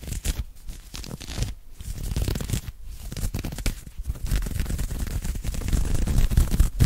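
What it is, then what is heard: Knit cotton polo shirt. Fingertips and nails scratch aggressively at an open-weave knit cotton polo shirt worn on the chest and side, close to the microphone. Fast, uneven scratching strokes run together, with a heavy low rumble beneath short bright rasps. The scratching grows denser and louder toward the end.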